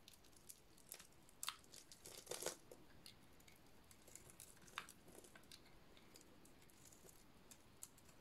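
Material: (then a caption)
Soap. A solid, hand-sized red soap bar with a black dot-painted coating, dry and held in one hand, is shaved with a metal utility-knife blade so curls fall off. Quiet, dry scraping and crisp crunching cuts are heard, with bright, sharp bursts standing out now and then over a soft background hiss.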